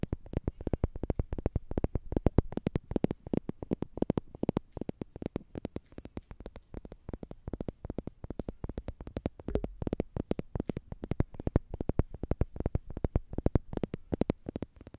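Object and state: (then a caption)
Plastic tube toy. Long nails scratch and tap rapidly along a slim orange plastic tube toy with a green end, which seems hollow. The result is a steady, dense stream of short, dry clicks and taps with a low, hollow body. Each tap dies away almost instantly, with no ringing.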